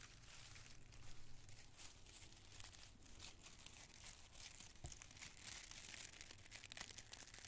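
A wad of small, thin, colored tissue paper squares is squeezed in the fist and crinkled between cupped palms with the fingertips. It makes a dense, continuous, bright crackling over a steady low hum, with brief sharper crinkles scattered throughout.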